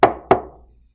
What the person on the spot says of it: when i tap it you can tell that it's solid rock